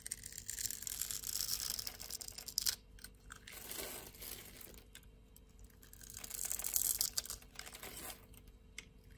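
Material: Soap.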